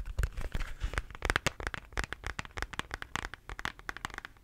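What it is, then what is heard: Plastic shaker bottle. Fingernails tap and scratch the body of a hollow pink plastic shaker bottle with its lid on. A rapid run of short, dry clicks and crinkly scratches follows, each with a low thump underneath and bright edges, dying away almost instantly.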